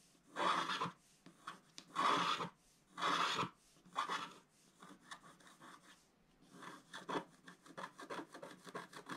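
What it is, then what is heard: Scratch art paper being scraped. A wooden stylus scratches the black coating in the center-left area of a flat, wax-coated scratch art sheet held down by one hand. Four long, raspy scrapes come first, then a run of quicker, shorter scratching strokes. The sound is dry and papery, with a bright hiss.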